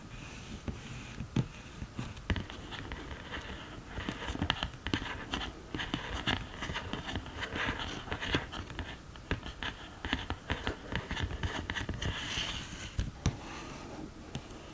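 Long green nails tap and scratch on the pans of an open cardboard eyeshadow palette, then along the sides of the case. Many quick, dry clicks and rasping scratches sit over a low, steady rumble, with brief bright bursts of scraping.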